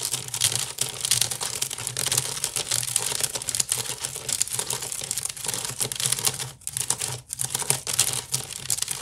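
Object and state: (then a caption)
Wicker basket being scratched. Long nails scratch quickly across the weave of a large, hollow woven wicker basket, giving a steady, dense rush of bright, crackling scratches. A faint low hum runs underneath, with brief pauses near the end.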